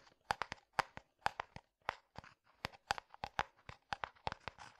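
A medium, hollow, translucent frosted plastic jar that appears empty is tapped with fingertips and nails in an irregular rhythm. There are 21 quick, dry clicks with a hollow tone centered near 900 Hz and bright upper edges. Each tap dies away almost instantly.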